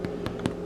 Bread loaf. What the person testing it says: you will know it's done when you can hear that tapping sound on the top and bottom of the loaf